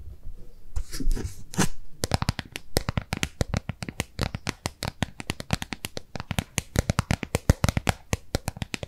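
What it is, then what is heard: Plastic tub tapped and scratched with nails. Long nails scratch across the base of a hollow, round white plastic tub with a barcode sticker on the bottom, held in both hands. After about two seconds of scratchy rubbing, the nails switch to a fast, uneven run of dozens of sharp, dry taps. Each tap is a short hollow click with a low, thumpy body and almost no ring.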